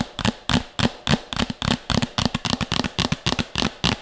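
A medium, empty, hollow red plastic bowl held beside the mic is tapped and scratched fast with long nails, giving about 18 quick, irregular hits. Each hit is a short, dry click with bright nail ticks over a low hollow thump near 195 Hz, dying away almost at once.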